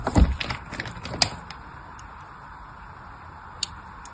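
A fine blade cuts parallel lines into a solid pink bar of soap held in the hand, making a quick run of dry, crisp scratches in the first second or so. The sound then falls to a quiet hiss, broken by one sharp, bright tick near the end.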